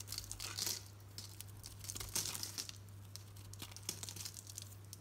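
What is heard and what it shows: A solid green Dalan soap bar with a brown painted coating, held in the palm, is shaved with a utility knife blade so the coating and soap curls peel off. Crisp, bright scraping and crinkly tearing sounds come in bursts over a steady low hum.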